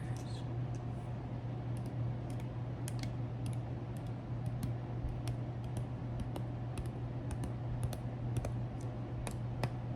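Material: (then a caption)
Baked cracker. Fingertips tap on very firm MRE crackers, making a string of quick, light, bright clicks that sound like typing on a keyboard. The clicks sit over a steady low hum.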